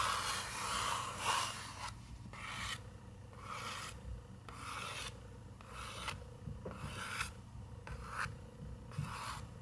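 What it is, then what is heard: Paper picture book page being scratched. Fingernails scratch and rub across a paper page of an open picture book, making a series of dry, papery rasping strokes. Each stroke is a bright, airy scrape that rises and fades, with a low steady rumble underneath.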